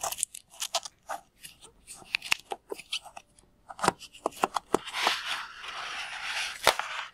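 Fingers pull and fiddle with the tied neck of one full, palm-sized, red-and-white latex rubber water balloon, making a run of sharp, crinkly rubber clicks and squeaks. Then both hands squeeze it, adding a denser, steady rubbing hiss under a few more crisp snaps.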